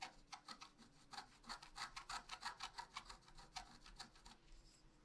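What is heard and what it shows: A wooden stylus scratches small leaf and swirl shapes into a flat, black-coated scratch art paper sheet about A4 in size. It makes a quick, fairly steady run of short, dry scraping strokes, bright and hissy with a papery rasp and almost no low end. The strokes thin out and soften near the end.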